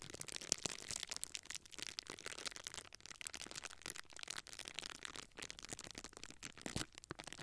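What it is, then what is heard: Plastic bubble wrap being crinkled. A small clear plastic bubble wrap sheet is held in both hands while fingers pinch and squeeze the air-filled bubbles along its top edge. The result is a steady, quiet stream of dense, bright crinkling and crackling, made of many sharp, short snaps with almost no low end.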